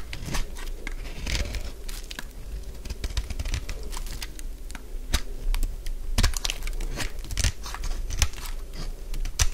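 A solid purple bar of dry soap, held in the hand, is scraped with a utility blade, producing a steady run of dry, crunchy scraping and crinkling crackles. Sharp, bright snaps stand out over a low, dull rumble as flakes break away.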